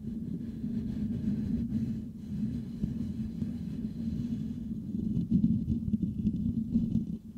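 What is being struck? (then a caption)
Perforated metal microphone grille. The perforated metal mesh grille of a Blue Yeti microphone is scratched and rubbed with the fingertips of both hands. The result is a dense, continuous low rumbling scrape centered around 200 Hz, with little high content. It swells into louder, rougher bursts toward the end.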